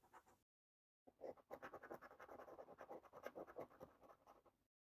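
A coin edge held in the fingertips scrapes the latex scratch-off coating from a thin cardboard paper scratch card lying flat on a table. A brief burst of scratching is followed by a short silence, then a longer run of rapid, uneven, dry rasping strokes with a midrange tone and a bright hiss, each stopping dead with no ring.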